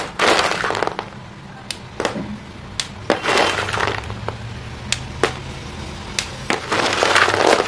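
Chalk-dusted hands squeeze and crush small white chalk pieces between the palms over a thin layer of them in a green plastic basin. Broad, gritty crumbling bursts alternate with sharp, bright cracking snaps in an irregular rhythm. The pieces crumble apart.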